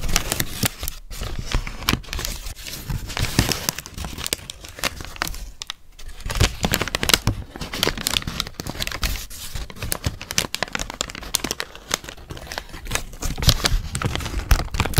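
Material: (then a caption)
Paper. A thin sheet of white tissue wrapping paper is held in both hands and crinkled and folded close in front of a microphone. The result is a dense, continuous rustle of sharp, bright crackles with soft low handling thumps underneath, rising and falling in bursts throughout.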